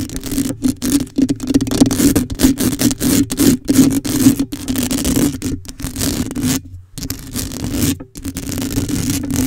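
Long acrylic nails scratch rapidly across the metal mesh grille of a black condenser microphone, making a dense, rasping scrape with a steady hum around 266 Hz underneath. The scratching runs almost continuously, broken only by a short silence near seven seconds and a brief dip just after eight seconds.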